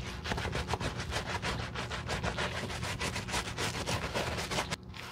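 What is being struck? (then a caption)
Leather sneaker scrubbed with a bristle brush. A wooden-handled dark bristle brush, held in a gloved hand, wet-scrubs the leather upper of a white leather Saint Laurent low-top sneaker, a hollow shoe with a foamy upper. A steady run of quick back-and-forth strokes gives a rhythmic, bristly swishing with a low, hollow undertone and bright hiss. The scrubbing drops off abruptly near the end.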